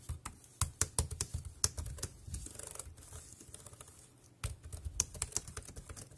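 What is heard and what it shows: Fingertips type on the round keys of a dark grey plastic compact wireless keyboard, producing quick, dry clicks with a low thump and a bright edge. The typing runs in uneven bursts, softens to a lighter patter in the middle, breaks briefly, then resumes with sharper strikes.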